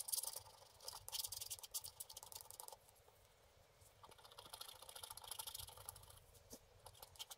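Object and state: Wax-coated scratch art card.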